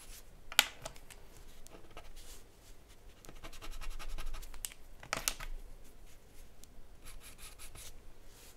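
A charcoal pencil scratches and draws across a sheet of white drawing paper bearing a charcoal portrait, lying flat on a wooden desk. Soft, dry scratching strokes come in bursts, with a few sharper bright ticks where the pencil catches the paper, over a faint low rumble.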